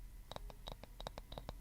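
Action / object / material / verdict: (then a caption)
tap / wooden object / wood / none. A wooden object is tapped in a quick, uneven series of short, dry, light taps over a faint low hum. Each tap dies away almost at once.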